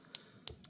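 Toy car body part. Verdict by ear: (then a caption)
Plastic. Three light taps on a part of a Hot Wheels Mario Standard Kart die-cast toy car that is painted to look like metal. Each tap is a short, bright, high-pitched click that stops almost instantly. The part sounds like plastic, and it is plastic.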